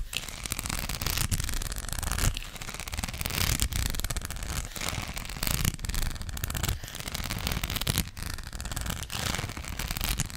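Long black acrylic nails scratch over the studs of a flat, thin gold rhinestone sticker sheet. The result is a dense, continuous crackling scrape with bright gritty texture over a heavy low rumble, swelling and easing in repeated strokes.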